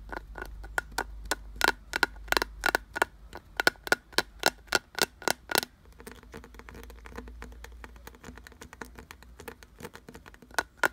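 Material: Wood.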